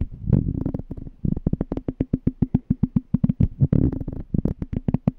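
Fingertips with short nails tap and scratch the bottom and threaded rim of a small, clear, empty glass jar with a pink label, held on its side. About 28 quick, dull taps come in a steady run, each a short low knock with almost no ring. Brief scratchy rubbing bursts break in near the start and again in the middle.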